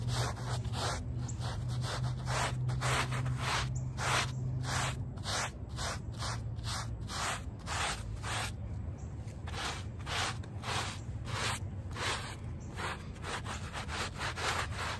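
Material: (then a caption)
Woven fabric. A handheld plastic bristle brush scrubs the back side of a small, wet, soapy, very muddy woven rug lying on pavement. Rough, bright scrubbing strokes repeat in a loose back-and-forth rhythm, with a steady low rumble underneath throughout.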